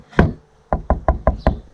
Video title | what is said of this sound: mes plaques balistiques | comme vous l'entendez quand on frappe dessus c'est de la céramique donc c'est fragile